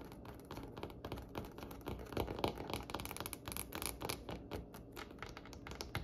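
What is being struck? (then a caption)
Varnished wooden tabletop. Long fingernails on both hands tap rapidly and irregularly across a glossy, varnished, solid dark wood tabletop. The result is a quiet, dense stream of short, dry clicks with bright edges and a faint woody body that dies away almost instantly.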